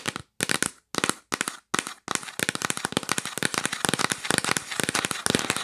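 Long nails tap rapidly on a hollow, yellow printed cardboard gift box held upright, making sharp, dry clicks with a papery rattle. The tapping comes in a few short, separate bursts at first, then turns into a steady, dense stream of fast taps.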